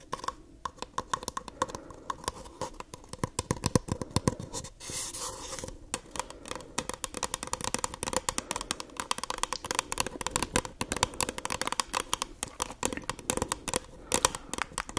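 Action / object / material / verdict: scrape / paper cup / paper / none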